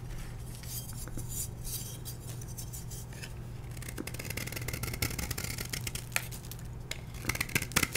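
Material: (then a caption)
Chalk. A solid blue-dyed gym chalk block held in hand is scraped with a metal blade, and chalk flakes fall onto a plastic tray. Dry, bright scraping strokes and crumbly ticks run over a steady low hum, growing denser and louder in the second half, with a few sharp clicks near the end.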